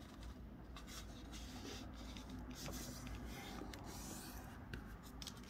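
Fingertips fold a thin pink snowman-print wrapping paper sheet into a triangle on a white table and rub the crease flat. The result is a steady, soft papery rubbing and scraping with bright crinkly flicks over a low, constant hum.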